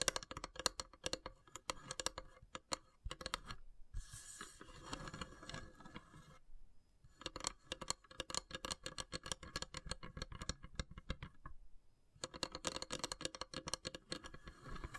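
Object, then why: Carved wooden incense box with perforated lid. Long grey nails tap and scratch the carved, perforated lid of a long, narrow, hollow wooden incense box with brass elephant inlays. Quick, dry, bright clicks come in rapid runs, broken by stretches of softer, continuous scratching and brief pauses. Each tap dies away almost instantly.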